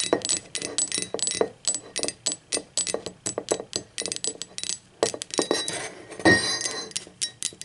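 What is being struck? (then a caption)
Glazed ceramic mug. Long acrylic nails tap a hollow, blue speckled glazed ceramic mug as it lies on its side and then upside down. The result is a quick, irregular series of sharp, bright clicks and clinks with very little ring, over a faint midrange tone.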